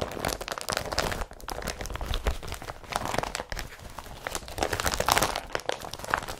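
Hands crumple an empty blue IKEA BRATTBY carrier bag made of woven polypropylene, then press it flat. The clip is a dense, continuous run of crinkling and crunching plastic with bright, sharp crackles over a low rustle. It ends in softer, slower crinkles.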